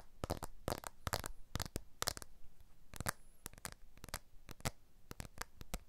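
A blue iPhone 12 smartphone with a glass back and aluminium frame is held horizontally while its glass back is tapped with the fingers in sequence, from index to pinky. The result is quick, dry clicking taps in little rolling clusters, each with a faint low thud and almost no ring.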